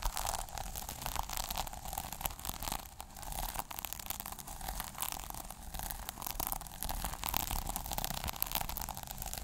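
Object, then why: Plastic sequin notebook cover. Short nails scratch across the plastic sequins on the cover of a small sequin notebook and along its page edge. The result is a dense, continuous stream of crisp, crackly scratching that stays bright up top, with a low rumble underneath throughout.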